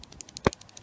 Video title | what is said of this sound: BMW E46 / N42: Drivebelt Tensioner Pulley: - How to replace | if you shake it a little bit you can hear play